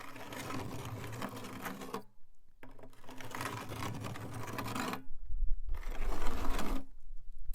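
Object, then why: Rusty metal can scratched with a nail. A nail worn on a fingertip taps and scratches a rusty metal can. Dense, fast ticking and rasping scrapes run in three bursts separated by short pauses.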